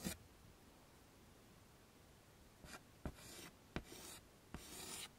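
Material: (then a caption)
Chalk. White chalk is drawn across a flat dark chalkboard in a wooden frame as a hand sketches a face outline and hair. A sharp tap opens the clip, followed by a quiet pause. Then come short, scratchy, bright scraping strokes, each starting with a crisp click of the chalk meeting the surface.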